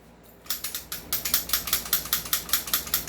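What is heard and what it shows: A stock airsoft rifle with a loose outer barrel is shaken and rattles in about 19 quick, dry, bright clicks after a brief quiet start. The clicks carry mostly high-frequency energy with little low end. The loose barrel is the fault, in contrast to an upgraded unit that no longer rattles.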